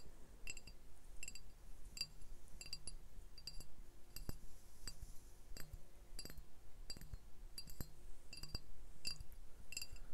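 Glass beer bottles are tapped repeatedly, producing short, bright clinks that ring with high tones over a soft, steady low rumble.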